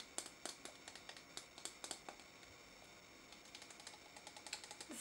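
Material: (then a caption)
Plastic. Long fingernails tap and scratch the side of a small, pink, translucent plastic tub with a lid, filled with pink noise putty and held in one hand. The result is a rapid series of quiet, bright, crisp clicks with almost no low end, easing off briefly in the middle before picking up again.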